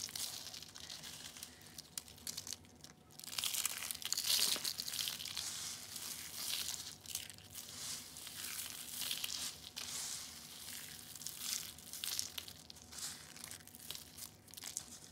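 Small orange and yellow dried soap curls are crushed by hand, then the pile of soap flakes is pressed and crumbled with the fingers. The result is a steady stream of dry, bright crackling and crunching with short, crisp bursts that swell and fade, with almost no low end.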